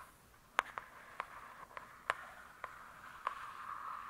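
Long acrylic nails on one hand make slow scratching strokes across the glossy paper-covered cardboard cover of a thick, solid hardcover book lying flat. Seven short, crisp scratch-clicks ring out at irregular intervals, each with a bright, papery edge centered around 1 kHz. A soft, steady hiss of rubbing continues quietly between them.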